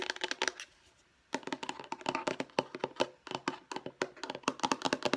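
Long nails tap rapidly on the lid and edges of a light blue hollow plastic storage case. Quick, dry, clicky taps come in fast bursts with almost no ring, broken by a brief pause near the start.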